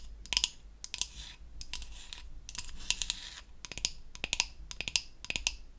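Long acrylic nails tap and scratch the surface of a solid, flat, pink-painted wooden toy facial cleansing brush. Crisp, bright clicks come in quick clusters, mixed with short, hissy scratching passes. Each tap dies away almost instantly, leaving a faint low hum underneath.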